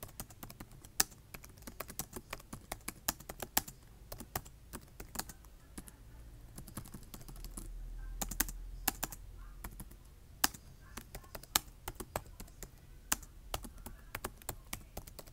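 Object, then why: Plastic laptop keyboard keys. Fingertips type and tap on the keys of a black plastic laptop keyboard, making a steady stream of quick, sharp, bright clicks with very short decay. A low rumble swells softly in the background around the middle of the clip.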